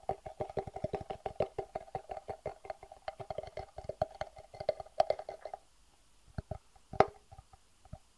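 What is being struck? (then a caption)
Hard acrylic plastic box. Fingertips and nails tap and scratch the sides of a medium, clear, hollow and empty acrylic plastic box held in the hands. Quick, hollow clicks with a resonant mid tone sound in a rapid, irregular stream for about five and a half seconds. The taps then thin out into a few sparse hits, with one sharp, louder tap near the end.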